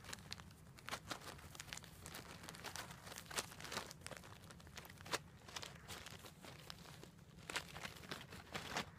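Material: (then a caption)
Wood, plastic. Long glossy black nails scratch and rub along a hand-held bundle of thin, dark incense sticks on wooden cores, apparently still in a thin plastic sleeve. The result is a quiet, dense stream of bright, crinkly scratching with many short, sharp crackles and brief louder swipes, over a steady low hum.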